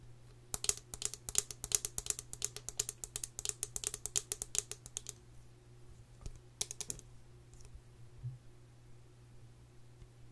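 Long nails tap rapidly on the frame of an open gold metal tin face palette with powder pans, held in hand. Bright, sharp, clicky taps come in a quick irregular run for about five seconds, then a short second burst follows after a pause. The clip ends in near quiet over a steady low hum.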